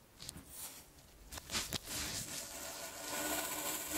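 A red plastic rake with metal tines scratches and scrapes through soft, solid, pile-sized clumps of blue kinetic sand (sand with a polymer binder) resting on a dark cloth, while the other hand holds the clumps. A bright, gritty hiss builds with a few sharper crunchy scrapes in the middle, then settles into a steady, rising rasp of tines dragging through the sand.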